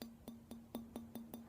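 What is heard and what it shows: An antique Kinkozan Kyoto Satsuma stoneware vase is tapped eight times, each tap giving a short, dull knock with a low tone near 230 Hz that dies away within a fraction of a second. The dull thud rather than a ringing china tone fits real Satsuma, which is stoneware, not porcelain.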